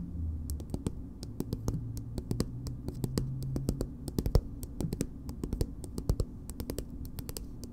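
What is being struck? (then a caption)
Soft plastic cosmetic tube. Long nails scratch and tap a soft, filled green plastic BB cream squeeze tube. The result is a steady run of quick, light clicks and scratchy taps over a dull, low body, each dying away almost at once.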